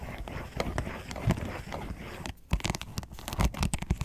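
Long nails scratch the ridges of a round, hollow yellow plastic box lid, first held in the hand and then lying on a table. The result is a dense, crackly scratching with a low, hollow body. After a brief quiet gap, it returns as sharper, louder rasping bursts.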